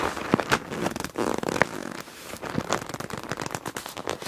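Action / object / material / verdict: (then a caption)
scrape / clear PVC zip pouch holding plastic felt-tip markers / PVC plastic / none. A medium, flat, clear PVC zip pouch with a black palm-leaf print, full of felt-tip markers and lying on black fabric, is slowly gripped and squeezed by hands with long dark nails. It gives a continuous plastic crinkle with quick, bright crackles and the soft clatter of the markers shifting inside.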